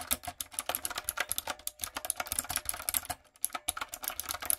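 A retro, typewriter-style backlit mechanical keyboard with round plastic keycaps is typed on with fingertips and long nails. About 28 sharp, bright clicks and clacks come in a quick, uneven run, each dying away almost instantly, with little low end and a brief pause near the three-second mark.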